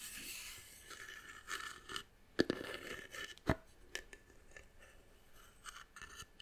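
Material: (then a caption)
Wood. A small, hollow, hand-carved brown wooden box is held in the hand while long nails scratch and tap across its carved surface. Soft, bright scraping and rasping alternate with a few sharp, dry taps that stop almost instantly.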